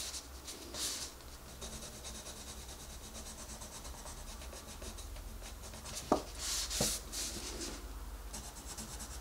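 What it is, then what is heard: Colored pencil on paper. A wooden colored pencil scratches and rubs across a paper coloring book page while coloring in a rabbit's ear. Soft, bright, papery strokes repeat steadily over a constant low hum, with a couple of sharper taps and louder scratchy bursts near the end.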